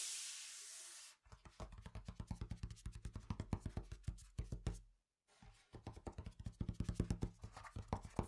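A large, thick, solid, printed folded cardboard game board lies flat on a table and is tapped and scratched across its surface with fingertips and short nails. A short burst of bright hiss opens the clip, then comes a long run of quick, dull, low knocks with a faint scratchy edge. The run breaks off briefly in silence before it resumes.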